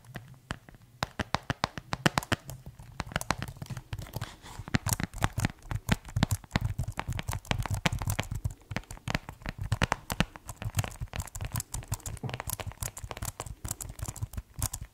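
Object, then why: Plastic keyboard case. Fingertips tap rapidly on the keys and shell of a white plastic keyboard case, producing a dense, irregular stream of short, dry clicks and taps. Each tap is crisp with a low, hollow body and no ring, like crackling or crinkling.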